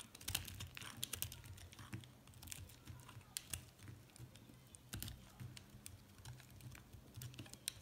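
A metal utility knife blade repeatedly shaves and cuts into a small, solid, pastel multicolored chunk of recycled soap held in one hand, scraping off flakes while a pile of soap pieces lies untouched nearby. Quiet, crisp scraping and sharp, bright clicking ticks come in quick, irregular bursts over a soft low rumble.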